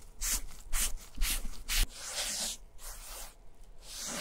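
A foam sponge dauber on a stick rubs wet black dye across the flap of a vintage German leather satchel bag. Four quick, bright, swishy rubbing strokes stand out at first, followed by longer, steadier wet rubbing with a soft, hissing texture.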